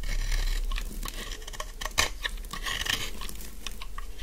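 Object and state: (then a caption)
Dry soap bar scraped with a blade. A metal utility knife blade shaves and scrapes along the edge of a solid, palm-length pink bar of dry soap held in one hand, making a quick run of crisp, dry, crunchy scraping cuts with a bright, papery texture. Curls of soap fall onto a pile of shavings as the cuts continue steadily, with one sharper crunch near the middle.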